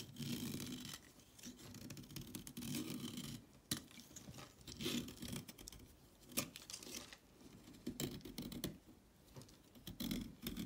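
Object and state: Chalk stick being scraped with a blade.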